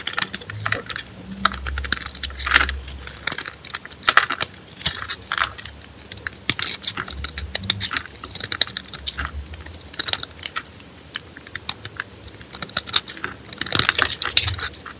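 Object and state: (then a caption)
Bar of soap being scraped. A solid pale green rectangular bar of soap embossed "NEFIS" is held in the hand while a blade scrapes flakes off its top edge. The sound is a dense run of dry, bright scratching and crackling with short bursts that die away almost instantly, over a faint low rumble.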